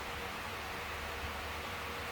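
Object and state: Nothing is struck.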